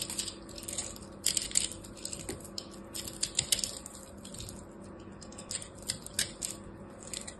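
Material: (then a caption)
Soap. A blade is pushed into and cuts through a hand-sized solid ball of pressed blue and purple soap chips, crushing it. Dry, crunchy cracking and crisp snapping come in irregular bursts, mostly bright and high-pitched with sharp clusters near the start, middle and end. Between bursts, a faint low hum sits underneath.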